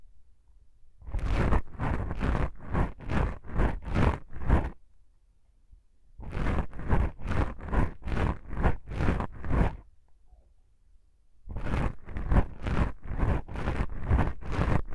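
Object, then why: Foam microphone windscreen. Long pink acrylic nails on both hands scratch two small black foam windscreens on a binaural mic. Three bursts of rapid, soft, swishing scratch strokes are separated by short pauses. Each stroke carries a heavy low rumble under a bright, airy scrape.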